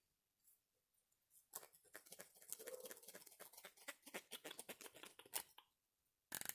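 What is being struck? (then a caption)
Plastic comb. A small, solid, wide-tooth yellow plastic comb is held in one hand while the fingers flick or scratch along its teeth. The result is a quiet, rapid series of dry, bright ticks and scratchy patters that builds after a few faint taps, thins out, then ends with a short, dense burst.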